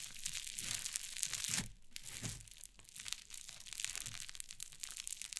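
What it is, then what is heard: Cloud slime. A flat mound of fluffy white cloud slime on a wooden table is pressed and scratched with fingertips and long painted nails. The result is a dense, bright, crackling crinkle with soft low squishes underneath, quieting briefly partway through before the crackling picks back up.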